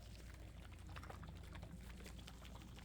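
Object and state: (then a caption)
Water globes with liquid sloshing inside. Water globes filled with water are handled in the hands, making the water slosh inside them. The sound is a quiet, continuous liquid sloshing with soft bubbly splashes over a low, rumbling base.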